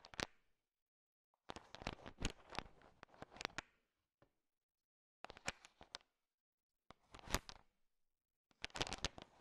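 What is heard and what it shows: A thin wooden stick stirs a large pile of small, solid candy-coated chocolate M&Ms with sugar shells, making them click against each other. The dense, bright clicking and rattling comes in several short bursts separated by near-silent pauses, each click dying away almost instantly.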